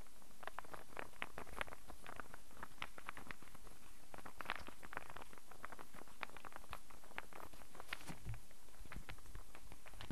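A hand-sized, solid light-wood, star-shaped interlocking burr puzzle is held and turned in the hands while fingertips and nails tap and handle it. Its pieces click against each other in a steady, quiet stream of short, bright wooden clicks and taps over a low background rumble.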